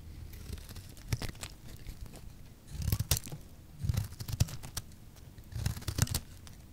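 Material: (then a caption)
Soap. A solid rectangular pink soap bar with orange sides, held in the hand, is shaved into thin strips with a small utility blade. Each scraping pass gives a dry, crackling rasp with sharp bright ticks over a low, thudding body. The passes come in repeated bursts separated by quieter gaps.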